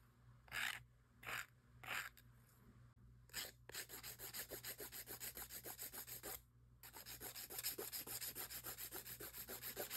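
A gloved hand files long acrylic nail extensions with a grey 80/80 emery file, working over the whole nail surface. A few slow, separate rasping strokes give way to rapid back-and-forth filing with a bright, high, gritty hiss. The filing pauses briefly, then resumes at the same quick pace.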